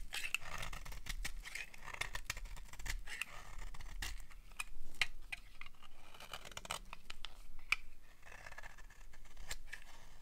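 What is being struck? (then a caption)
Bar soap shaved with a knife blade. A utility knife blade repeatedly shaves the edge of a solid, dry orange-red bar of soap. The clip is full of quick, crisp scraping strokes with a bright, papery rasp that cuts off almost instantly, over a faint low rumble.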